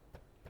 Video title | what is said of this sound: Wood Chips Vs Mulch | if you can hear that, it's hard. It creates a mat.